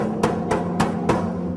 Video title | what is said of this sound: Distillery Operations Segment 6 | when I bang on it you hear a completely different sound see much baser lower and when you've got pressure in it it really gets tiny